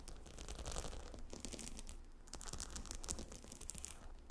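Long nails scratch and tap the hexagonal stone tiles of a gemstone hot stone pillow lying on dark carpet. The result is a steady run of quick, dry, bright clicks and scratchy rasps over a low hum.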